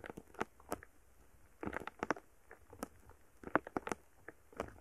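A wooden stick is pushed into and stirred through a palm-sized lump of solid, soft purple foam bead slime (floam) resting on a microphone. It makes a series of short, crisp crackling pops in scattered bursts over a quiet background.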